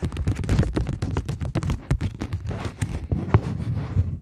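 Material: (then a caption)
Polymer plastic. A polymer plastic £20 banknote is bent between both hands while long nails tap and scratch along its edge and face. The result is a rapid, uneven run of short, dull taps and crinkly scratches, mostly low and thumpy with only faint brightness, each tap dying away almost at once.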